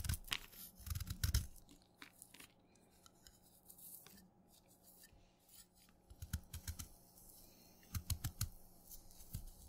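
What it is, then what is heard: Wet black chalk stick being shaved with a knife. A steel kitchen knife shaves crumbly black flakes off a solid, dark, wet black chalk stick held in the fingers. Bursts of short, crisp scraping and crunching cuts come in clusters, each with a soft low thud and a bright, crackly edge that dies away almost instantly. Quieter gaps hold a faint, steady low hum.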